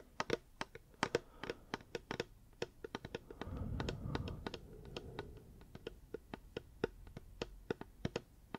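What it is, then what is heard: Hard plastic water bottle. A reusable hard plastic water bottle is tapped with the fingers in a quick, irregular run of short, dry clicks with a hollow tone around 900 Hz and bright edges. A low, soft rumbling swell rises beneath the taps in the middle of the clip before fading. The taps then continue crisp and evenly spaced to the end.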